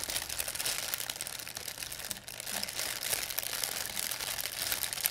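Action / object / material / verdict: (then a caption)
scrape / thin plastic bag / plastic / none. An empty, thin white plastic pharmacy bag is squeezed and crinkled in both hands with long nails. The result is a dense, continuous, bright crinkling with almost no low end. It dips briefly in the middle, then returns slightly louder.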